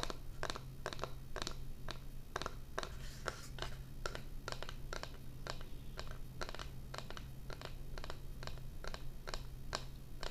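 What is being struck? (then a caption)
Thin laminate flooring board. Long painted fingernails tap and scratch a thin, solid, flat rectangular board with a wood-grain laminate surface and a round cutout near the bottom, likely a laminate or vinyl flooring sample, held upright in both hands. A rapid run of dry, crisp clicks and short scratches dies away almost instantly, over a steady low hum.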